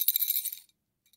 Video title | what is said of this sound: Our Entire MARYELLEN Collection! | it feels and sounds like metal coins not plastic coins